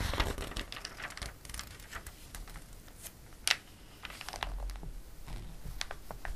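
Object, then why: Glossy paper catalog page. Fingertips rub the pages of a glossy paper catalog, making soft, dry crinkling and brushing sounds with bright edges. A page is turned with a sharp crackle about halfway through, and the light rustling continues afterward.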